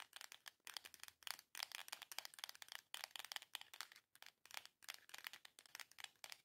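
Long nails rapidly tap and scratch the surface of a small, long, hollow printed cardboard box. The result is quiet, dry, bright clicking and scraping in quick bursts, with almost no low end and no ring.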